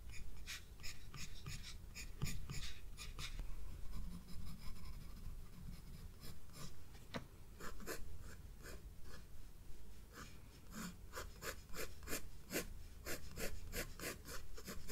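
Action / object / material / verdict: scrape / graphite pencil on a paper sketchbook page / paper / none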